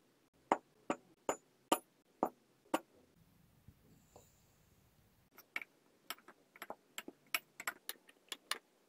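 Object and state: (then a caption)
Kinetic sand tamped in a glass. Blocks of blue and green kinetic sand are dropped into a stemmed clear glass, then tamped down with a wooden muddler. Six sharp, short clicks ring out evenly, followed by a quiet stretch with faint soft rustling. A quicker run of bright, dry taps then closes the clip.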